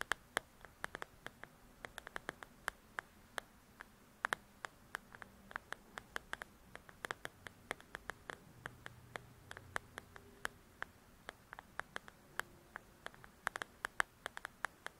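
Long nails tap and scratch the cover of a paperback paper coloring book. Dozens of quick, dry, bright clicks land at an uneven pace over a soft, steady scratchy hiss. The whole clip stays quiet and close, and each tap stops almost instantly with no ring.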